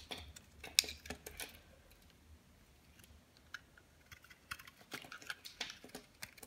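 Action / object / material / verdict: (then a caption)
scrape / bar soap cut with a blade / soap / none. A metal utility blade peels and cuts crumbly slices from a solid, dry bar of white soap with a red coating and a gold glitter inset, held in the hand. Quiet, bright, crisp clicks and scratchy crackles come in short bursts, with a sharp snap near the start and a near-silent stretch in the middle.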